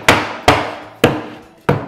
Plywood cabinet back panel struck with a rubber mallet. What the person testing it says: you can hear how it gets dull. That means that that panel is nice and seated